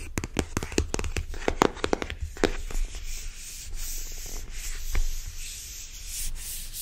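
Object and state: Cardboard card box, tapped and rubbed.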